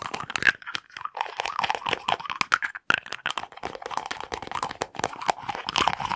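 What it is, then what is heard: Small glass jar with lid. Fingers and nails quickly work the lid of a small dark glass jar with a white label and tap the jar, held in both hands close to the mic. A dense, fast stream of crisp clicks, taps and crunchy scratching fills the clip, bright in the mids with almost no low end. Each tap stops short with no ring.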